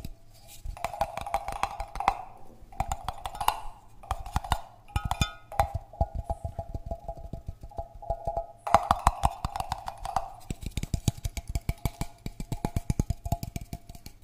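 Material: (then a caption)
Metal. A small, hollow cylindrical metal tin can with a yellow paper label, apparently empty with one end open, is held in one hand and tapped near the microphone with the fingertips and nails of the other hand. Dozens of quick, dry taps come in rapid bursts with short pauses, each giving a hollow knock with a tone around 800 Hz and a dull low thump. The taps die away almost instantly, with faint bright clicks from the nails.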